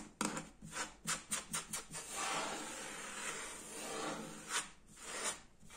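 Fingertips and nails tap and scratch a solid, flat kitchen countertop with a speckled granite pattern, likely laminate. Six quick, dry taps come first, followed by a steady, bright scratching rasp across the surface and a couple more taps at the end.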